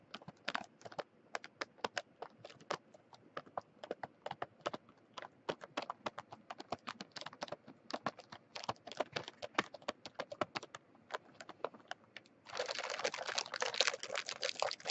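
Long French-manicured fingernails tap and scratch a sealed Mint Oreo package, about 20 cm long, held in the hand: a crinkly plastic film wrapper around a tray full of cookies. For most of the clip, dozens of quick, dry, sharp clicks patter irregularly across the film. Near the end this gives way to a dense, continuous bright crinkling scratch.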